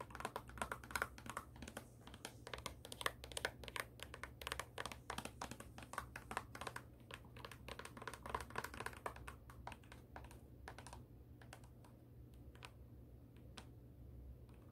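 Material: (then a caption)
Suede. Long acrylic nails tap and scratch the thin heel and suede-like upper of a black suede high-heel pump held close up. Dense, rapid clicking taps with brief scratchy strokes run over a steady low hum and thin out toward the end.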